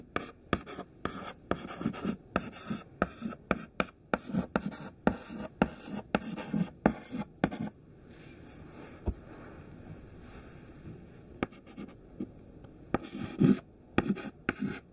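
Fingertips hold a thin stick of white classroom chalk and write a list on a large flat black chalkboard, giving quick dry scratches and sharp taps against the board. The strokes come in rapid bursts, pause for a few quiet seconds with a single tap, then resume.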